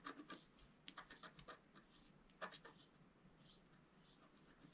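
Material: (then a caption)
Coated paper. A wooden stylus scratches the lower middle area of a flat, black-coated scratch-art paper card. Short, bright, dry scratching strokes come in quick bursts, clustered at the start and again about halfway through. The clip ends with fainter, lighter scraping.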